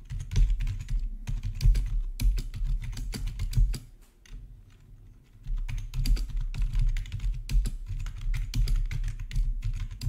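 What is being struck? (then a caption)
Plastic membrane keyboard. Fingertips type steadily on a black plastic RGB backlit membrane keyboard with a hollow body, producing a dense run of quick, dull key taps with a deep low thump beneath bright clicky edges. The typing pauses briefly near the middle, leaving a quieter stretch before resuming at full pace.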